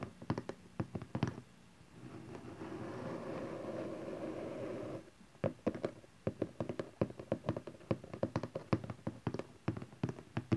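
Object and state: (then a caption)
Cardboard box. Fingertips and nails tap the top face of a small hollow cardboard camcorder box resting on satin fabric, making quick, dull, hollow knocks that die away almost at once. Midway the tapping stops and hands hold the box's sides, giving a soft, steady rustling hiss for about three seconds. Then the brisk, uneven tapping resumes until the end.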